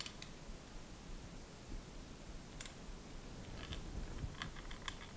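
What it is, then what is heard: Noisy boom pole with loose internal cable. A microphone boom pole with an internal cable is tightened and shaken, producing quiet, irregular clicking and rattling as the loose cable knocks inside. Short, bright ticks rise above a steady low rumble. The pole is judged pretty noisy, since a good boom pole should be quiet.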